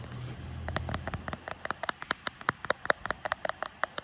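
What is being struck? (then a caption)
Smartphone in a frosted plastic case. A hand-sized smartphone in a translucent grey-lilac frosted plastic case with a pink metal camera surround is held upright in both hands while short red-painted fingernails tap and drum on the back of the case. A low rumble fills the first second, then about 22 quick, dry, clicky taps follow with a mid-range knock and no ring. The solid device gives short, crisp hits that stop dead.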